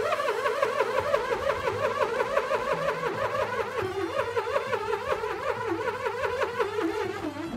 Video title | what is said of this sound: Video Tutorial Eksperimen Science Film Festival 2022 | ketika balon yang berisi murheksagonal diguncangkan gesekan yang terjadi antara mur dan balon semakin besar sehingga suaranya juga makin besar